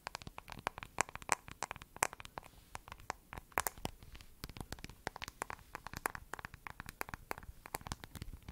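Long nails rapidly tap and scratch the back of a smartphone in a glossy lavender plastic case with a heart and a camera bump. The result is a dense run of sharp, dry clicks mixed with soft scratchy crackles. Each tick is very short and bright, with no ring.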